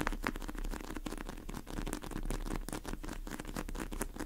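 Long acrylic nails tap and scratch the surface of a large, pink, soft polyurethane foam squishy cake with sprinkles, sitting in a plastic tray. The result is a steady stream of rapid, soft, dull patters and light scratches that die away quickly, with little brightness.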